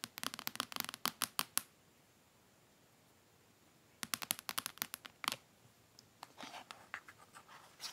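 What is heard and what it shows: Medium-long manicured nails and fingertips scratch and tap the aluminum back of a thin, flat, iPad-like tablet about 25 cm wide lying on its white box, then its glass screen after it is flipped over. Two quick flurries of sharp, bright, dry clicks with no ring are separated by a quiet pause. Softer, scratchy tapping follows at the end.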